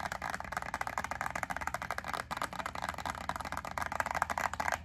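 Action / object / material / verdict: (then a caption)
tap / thin clear plastic clamshell holding wax cubes / plastic / none. Long acrylic nails rapidly tap and scratch a small clear plastic clamshell pack of wax melt cubes, its yellow label side facing forward. The result is a steady stream of dry, crisp plastic clicks and scrapes, mostly midrange with a bright edge. Each click is short and dies away almost instantly.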